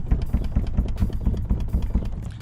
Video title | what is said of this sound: 2015-2020 Cadillac Escalade Rear Liftgate Rattle Adjustment Tahoe Suburban Silverado Yukon Tailgate | so that was all the noise it was the lift gate shaking